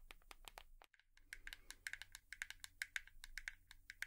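A hairbrush is tapped with long nails, producing a quick, uneven series of light, bright clicks with a brief pause near the one-second mark. The taps are short and dry, with almost no ring, over a faint low background hum.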